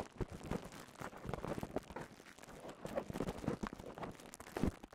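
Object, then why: Plastic bubble wrap. A cone of clear plastic bubble wrap is held in both hands while fingers squeeze and rub the bubbles. The result is quiet, continuous crinkling and soft crackling, with small squeaky pops and rustles scattered throughout.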